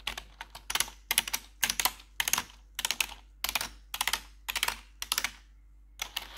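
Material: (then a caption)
Plastic. Long metal claw nails on blue gloves tap and scratch the keys of a black plastic RGB computer keyboard. Quick bursts of bright, clicky taps and scraping come in clusters separated by short silences, with almost no low end and very short decay.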